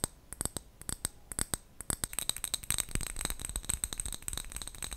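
A small clear glass jar with a gold metal lid, filled with colourful wrapped sweets, is tapped with long fingernails and gently moved so the contents rattle. Sharp, clicky taps with a faint bright ring come in quick, spaced bursts at first. Midway they give way to a denser, continuous rattle and clatter.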